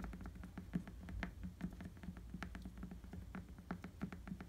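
Fingertips quickly scratch a tan rubber bicycle tire with a ridged tread. The result is a quiet, rapid patter of soft, dull taps and scrapes, mostly low and thumpy with short, faint bright ticks on top.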